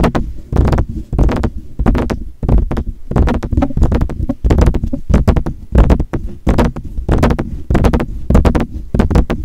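Fingertips tap rapidly on the grille and hollow metal body of a silver metal desktop USB condenser microphone. The taps come as quick, irregular bursts of dull, boomy low thumps with short bright clicks on top, each dying away almost at once.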